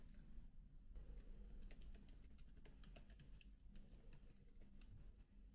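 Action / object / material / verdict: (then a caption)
tap / laptop keyboard, plastic keys on a metal body / plastic / none. Both hands type with fingertips and nails on the black plastic keys of a silver aluminium-bodied MacBook laptop resting on a bed. Quiet, rapid, bright key clicks and taps come in uneven bursts over a steady low rumble, each click dying away almost instantly.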